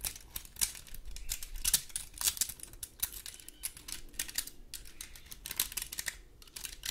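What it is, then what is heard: Dry pine cone. Long gold claw nails scratch and tap the scales of a large, dry, woody pine cone. The result is a quiet, steady stream of rapid, crisp clicks and dry scratches that are bright and sharp, with almost no ring.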